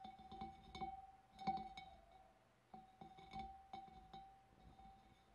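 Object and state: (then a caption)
Glass fish bowl. Fingernails tap sparsely on the rim of a large, clear, empty glass fish bowl. Eleven light, separate clinks each ring with a steady glassy tone near 780 Hz, plus faint bright overtones. The ring fades quickly between taps.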